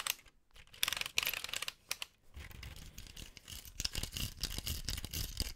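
A hand-sized green Cobi-style plastic building-brick model tank of hollow brick construction is held close to the microphone and tapped and scratched with fingertips and nails along its tracks and sides. Bright, dry scratching and clicking come in irregular bursts, sparse at first and then denser with soft low thumps. Each tap dies away almost instantly.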